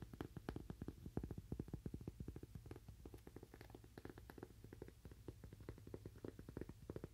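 Fingernails tap rapidly on a cork "Toaster Coaster", making quiet, dull, low-heavy clicks at an uneven, steady-ish pace of nearly three per second. Each tap is short and dry with almost no ring, and a faint low hum sits underneath.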